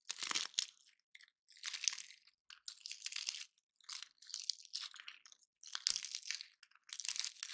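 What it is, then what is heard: Painted pine cone scratched and crumbled. A dry, solid, hand-sized woody pine cone painted gold is held in both hands while fingertips and nails scratch and break its scales, with silver cones sitting untouched behind it. Quiet bursts of bright, dry crunching and crackling come in short clusters separated by brief silences. The sound is almost entirely high and crisp, with little low end and no lingering ring.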